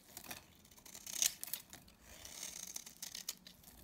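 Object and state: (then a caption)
Dry bar soap being shaved. A utility knife blade scrapes and shaves flakes from the face of a dry, palm-sized solid pink bar of soap held in the hand. The sound is a quiet run of bright, crisp, crackly scraping strokes with almost no low end. A louder, sharper burst comes just past the first second.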